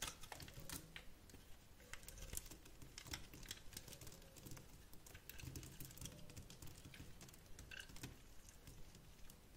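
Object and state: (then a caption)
Glycerin soap bar being scraped and sliced. A box-cutter blade repeatedly scrapes and slices a solid translucent teal glycerin soap bar held in the hand, already scored in a grid, shaving off chips. The sound is a steady stream of quick, crisp scratches and clicks with bright edges over a soft low rumble, each stroke dying away almost instantly.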